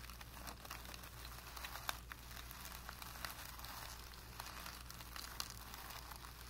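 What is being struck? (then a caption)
Primed cotton painting canvas. A flat paintbrush with light blue-tinted bristles is pressed and flexed against a blank white primed cotton painting canvas, stretched flat and taut, scrubbing and dabbing across the surface. The bristles make a quiet, dry, scratchy rustle broken by brief crackly taps, over a steady low hum.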